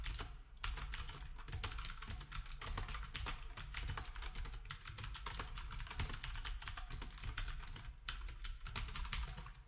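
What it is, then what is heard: Plastic round-key keyboard being typed on. Fingertips of both hands type on a black retro typewriter-style keyboard with round plastic keycaps. A rapid, steady stream of bright plastic clicks rides over a low thump, with a brief lull near the start and another around eight seconds.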